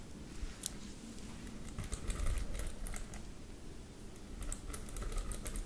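Long lavender acrylic nails scratch and tap across the dense pin bristles of a teal plastic paddle hairbrush with a hollow body and teal ball-tipped pins, held up in the air. It produces rapid, irregular bright clicks and crackling scratches over a steady low rumble.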